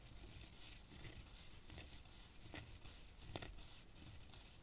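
A hollow, dried-cactus wooden rainstick is held upright and scratched with long nails along its ridged wooden surface. It makes a steady, dry scratching and crinkling rasp, with a few brief, sharper clicks standing out over the low rumble.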